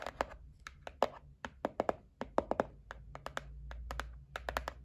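Long nails tap and scratch the lid of a white cardboard gift box, first held and then resting on a table. The result is a quick, uneven run of short, dry, papery clicks with a hollow midrange tone around 550 Hz. Each tap dies away almost instantly over a faint low rumble.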